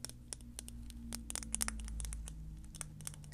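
Long painted fingernails tap and scratch a small, tinted brown glass serum bottle with a gold metal cap, which appears full and is held in the hand. The result is a quick, irregular run of sharp, bright clicks and scratchy ticks that stop almost instantly, over a steady low hum.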